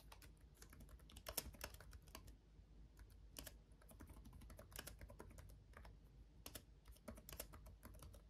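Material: Plastic.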